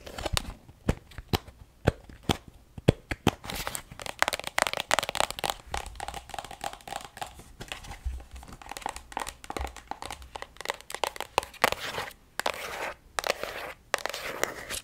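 Long acrylic nails tap and scratch a filled plastic lotion tube held horizontally, including near its cap. Quick, dry clicks mix with crinkly scratching that stops dead with no ring, in a steady uneven patter throughout.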